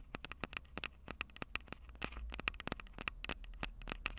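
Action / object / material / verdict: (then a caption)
tap / handheld audio recorder with metal mic capsules and plastic body / metal, plastic / none. Long purple nails scratch and tap the metal mic capsules and plastic sides of a small Tascam DR-05 handheld recorder. The result is a quick run of sharp, bright clicks and ticks, each dying almost instantly, with a faint scratchy texture and a low rumble underneath.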